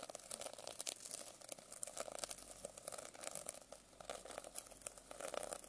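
A silver pen tip scratches and taps quickly across the rainbow sequin cover of a medium hardcover notebook lying flat. The result is a dense run of dry, crinkly clicks and rustles, bright and high-pitched with almost no low end, each tick dying away instantly.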